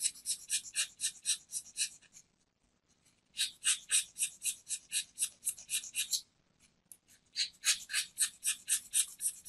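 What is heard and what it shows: A metal craft knife blade shaves the surface of a small, round, solid white soap disc held in a palm, leaving powder behind. About 21 quick, bright, dry scraping strokes come in three rapid runs separated by short pauses.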